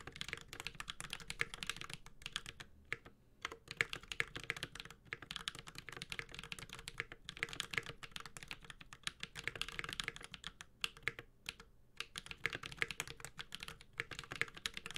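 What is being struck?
Mechanical keyboard with metal case and plastic keycaps.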